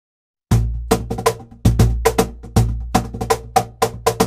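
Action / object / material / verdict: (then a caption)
strike / wooden box drum with thin birch plywood front panel / birch plywood / none. A seated player slaps and taps the thin 3 mm birch plywood front panel of a large hollow cajon box drum, about 47 cm tall with an MDF body, using bare palms and fingertips. Fifteen quick strokes are heard in a steady groove, each a deep, booming thump with a short woody slap on top. The sound is mostly low and rounded, with little bright edge and a quick decay.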